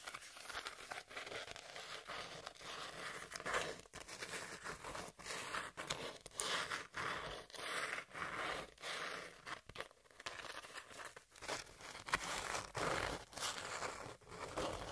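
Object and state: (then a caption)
Corrugated cardboard, scratched. Long nails scratch the exposed ribbed layer of a hand-sized corrugated cardboard sheet held in both hands. The result is a steady run of dry, crackly scraping bursts, bright and papery with little low end, coming in short irregular strokes.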